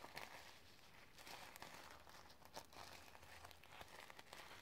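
Long red nails scratch and brush across a sequin-covered notebook, flipping the sequins. The quiet clip is full of dry, crinkly scraping with sharp, bright clicks from the sequins over a faint low hum.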